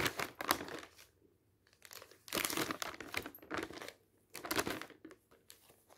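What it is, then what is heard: Glossy magazine pages crinkling. Fingertips quickly grab and turn the thin coated pages of an open glossy paper magazine resting on a stack. Several bursts of bright, papery crinkling and rustling rise and fade with short quiet gaps between them.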